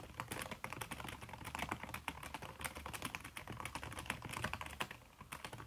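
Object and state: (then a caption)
Laptop keyboard with silicone cover, fast typing. Fast typing with fingertips and long red-painted nails on a backlit aluminium laptop keyboard whose plastic keys are covered by a red silicone skin. Rapid, soft, muffled clicks and taps run continuously with short bright transients over a low steady hum.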